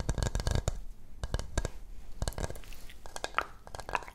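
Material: Coconut shell.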